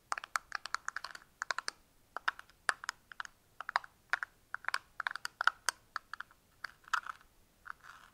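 A small, hollow, empty-looking box of frosted clear hard plastic is held in the fingers, tapped and clicked with fingernails while its lid is worked. This gives a quick, uneven run of many sharp, dry clicks with a hollow midrange tone around 1.4 kHz and bright tips. Each click dies away almost instantly, with no low end.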